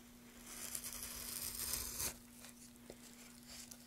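A gloved hand pushes a small metal gouge along the surface of a solid pale wooden board, cutting out shavings while the other gloved hand holds it steady. A bright, crisp scraping and tearing rasp builds for about two seconds and ends sharply, followed by quieter faint scratches and a small tick over a steady low hum.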